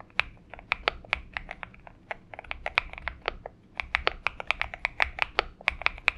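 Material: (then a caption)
Plastic. Fingertips of both hands type on a purple Xinmeng M71 mechanical keyboard with PBT keycaps. Crisp, bright key clacks come in quick, uneven bursts, each dying away almost instantly. There is a brief pause in the middle before the typing picks up again.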